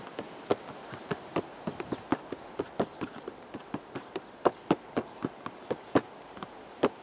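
Fingertips tap the front face of a hollow purple cardboard teacake box, about 25 times at an uneven pace. Each tap is a short, dry, hollow knock that dies away almost instantly, some louder than others, over a faint steady hiss.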